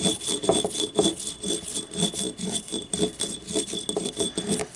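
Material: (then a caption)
Ceramic. Long nails scratch the ribbed wall and the labeled base of a small, hollow, yellow ribbed ceramic paint cup held on its side. The result is a quick, rasping series of strokes at about two per second, with a midrange body around 430 Hz and a bright, hissy top edge.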